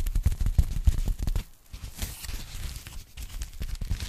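Fingertips and long nails tap and scratch a thin, flat, hollow pink foam packing sleeve, which is briefly repositioned at the start. Quick, uneven, dull low thumps with soft scratchy crinkling come first, then fade into quieter, lighter scratching and tapping for the rest of the clip.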